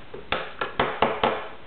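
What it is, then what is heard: Plastic toy ring part. Scissors knock five times on the plastic part of a WWE Real Scale toy wrestling ring. Each knock is a short, dull tap with a brief ring, in contrast to the sound of the metal post.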